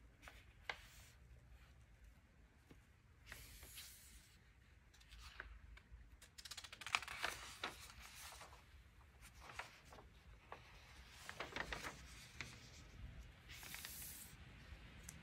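Fingertips slide along and turn the aged pages of a thin 1947 vintage paper magazine booklet held open. The result is quiet, bright papery rustles and crinkly swishes with soft, irregular little snaps as the pages move, over a faint low hum.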